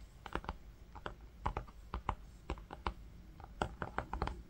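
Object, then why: Linen fabric-covered book cover. Fingertips with short nails tap and drum on a flat green linen-textured fabric book cover with a brown faux-leather panel, lying on pink faux fur. A quick, irregular run of soft, dull taps is heard, each a short low thud with a light papery click on top that dies away almost instantly. The overall sound is quiet and muffled, with little high brightness.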